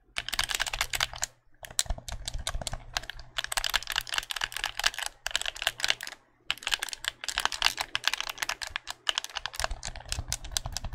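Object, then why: Plastic game controller buttons. A white, hollow plastic game controller is held in both hands while its buttons are clicked rapidly with thumbs and fingertips. This produces dense runs of sharp, bright plastic clicks, with brief pauses around 1.3 and 6.3 seconds, over a faint steady low hum.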